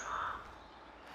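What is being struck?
Nothing is struck.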